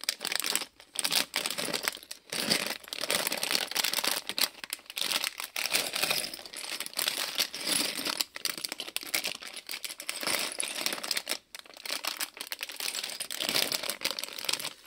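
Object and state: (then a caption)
Plastic polybag with toy bricks. A small printed plastic-film Lego polybag with loose bricks inside is bent, crinkled and shaken by hand. Steady bright, crisp crinkling fills the clip with brief pauses, while the bricks rattle inside the bag.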